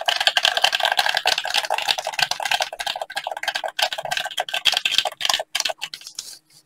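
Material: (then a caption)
Plastic. Gloved fingertips rapidly tap and press the buttons of a hollow black plastic gamepad held in both hands. The result is a dense, continuous stream of bright, dry clicks with almost no low end, each click dying away instantly. The tapping thins out and grows quieter toward the end.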